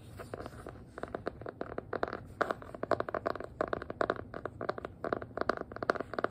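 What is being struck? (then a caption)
Hardcover notebook, faux-leather cover over board. Long nails tap and scratch quickly across a small black hardcover notebook with an elastic band, a faux-leather cover over board and a solid paper block. The result is dense bursts of short, dry clicks and scratchy rasps centered in the mids around 645 Hz, with little low end and almost no ring.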